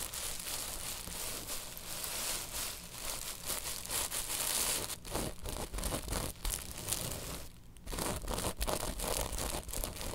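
A woven tapestry bolster pillow is scratched and tapped quickly with long nails, giving a steady, dense crinkling scratch with bright, hissy texture. Quick taps and brief pauses break up the rasping, with one short lull near the end before the scratching resumes.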